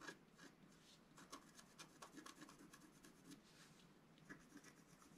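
A wooden stylus scratches lines into the coating of a flat, black-coated scratch-art card. The result is a quiet, continuous dry rasping and rubbing, broken by short, sharper strokes with bright, hissy edges.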